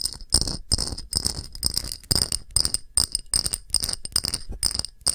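An empty, round, thick, clear pressed-glass shallow dish with a patterned rim is tapped with long nails in quick, irregular bursts. Each tap gives a bright, high glassy clink that dies away almost at once, over a faint low thud from the contact.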